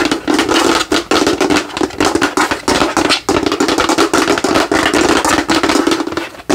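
Fingernails tap and scratch fast over the top of the head of a hollow translucent plastic light-up skull held close, making a dense stream of crisp, hollow clicks and scrapes. A steady plastic resonance around 336 Hz rings under the rapid taps, with bright, high scratchy texture, dropping out in brief gaps between bursts.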